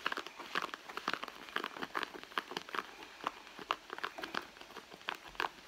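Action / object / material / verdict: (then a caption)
scrape / soft leather handbag / leather / none. Long nails scratch and pinch the soft leather at the front pocket of a red, hollow leather handbag resting on a mat. The result is a dense run of short, dry crinkling and scratching clicks with a bright, papery edge and almost no low end. Each click dies away almost instantly.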